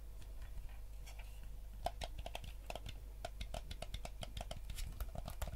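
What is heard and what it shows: Fingertips and nails press and click the buttons and tap the hollow shell of a hand-sized yellow GameCube-style plastic gamepad held in both hands. The result is a quick, irregular run of short, dry plastic clicks and ticks with a slight mid-pitched knock, over a steady low hum.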